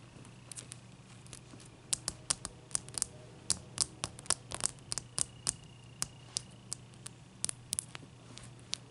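Long nails tap a large, clear, solid ice cube resting on a towel. A quick, irregular run of sharp, dry, bright clicks with almost no ring sits over a quiet, steady low hum.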